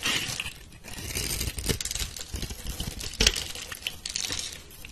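A metal blade scores a grid into a solid, rounded pink soap bar held in a hand with long red nails, then scrapes off small cubes and crumbs. The cutting and scraping make a steady run of bright, crisp crackles and crumbly rasps, with a sharper snap about three seconds in.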